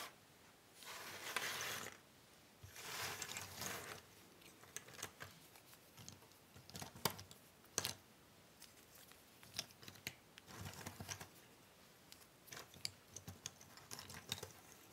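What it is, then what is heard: Cardboard jigsaw puzzle pieces. Long nails and fingertips shuffle and pick through a large pile of small, thin cardboard jigsaw puzzle pieces on a wooden table. Two bright, sustained rustling sweeps open the clip, followed by scattered crisp clicks and light taps as pieces are lifted and dropped, with quieter shuffling between them.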